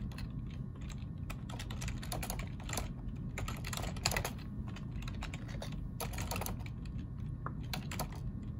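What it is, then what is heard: Plastic computer keyboard being typed on. Fingertips of both hands type on a black plastic ergonomic split keyboard resting on a wooden desk. Quick, bright keystroke clicks come in bursts over a steady low hum.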